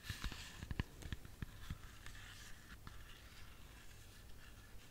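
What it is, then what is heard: Apple tapped with fingernails. A whole, solid red apple is held in the hands while long fingernails tap and scratch its skin. Quiet, dull, low taps cluster in the first two seconds. They give way to a soft, continuous scratching with faint bright clicks, and each tap dies away almost at once.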